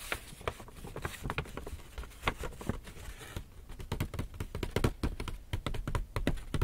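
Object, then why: Paper shopping bag. Fingertips and nails tap and scratch the front face of a medium-size black Lush paper gift bag, which is hollow and apparently empty and held upright in both hands. Rapid, irregular, dull taps with a low, hollow thump fall in quick succession over a faint papery scratching. Each tap dies away almost instantly.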